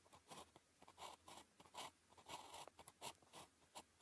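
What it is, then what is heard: Ballpoint pen writing on paper. A blue ballpoint pen writes characters on a flat sheet of thin paper with a red grid, its tip scratching across the surface. The result is a quiet series of short, dry scratching strokes in irregular bursts, with bright hiss and a midrange rasp around 900 Hz.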